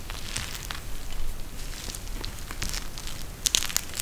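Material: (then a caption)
Plastic, gel. A pink eye mask with a clear plastic shell filled with gel beads and a fabric edging is held in both hands and squeezed by fingertips. Soft, continuous crinkling and crackling is heard, with brief bright clicks standing out near the end.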